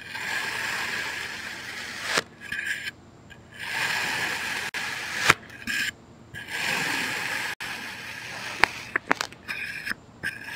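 A green plastic knife slices diagonally through a solid heart-shaped mound of packed red kinetic sand that has already been cut in parallel lines. Repeated bright, gritty scraping and rubbing strokes are separated by short quiet gaps, with a few sharp clicks near the end.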